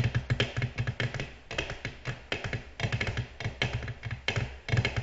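Long natural nails tap a flat, solid, glossy black glass tabletop in quick clusters of light taps. Each tap is a short, dry click with little ring, over a soft low thump and a bright edge on top.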